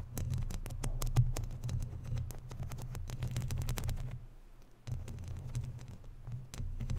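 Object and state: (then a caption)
Metal mesh microphone grille scratched and tapped by nails. Long natural nails scratch and tap on a hollow, round woven metal mesh microphone grille. The result is a dense run of quick crackling taps and scratches with bright clicky edges over a heavy, boomy low rumble. The rumble drops to a brief near-quiet pause partway through before the scratching resumes.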